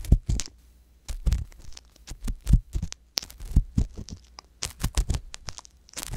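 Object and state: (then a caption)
Silicone dummy ear scraped with an ear pick. The thin metal tip of a wooden ear pick scrapes inside the ear canal of a soft silicone ear on a white box binaural microphone. Irregular, muffled low thumps and rumbles come through, each with a brief bright scratchy rasp on top and short quiet gaps between.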